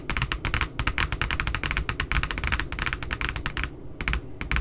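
Long nails tap quickly along the lower edge of the glossy back cover of a spiral notebook with a glossy paper cover. The result is a dense, steady run of sharp, bright clicks that die out almost instantly, with a soft low rumble underneath and a brief lull near the end.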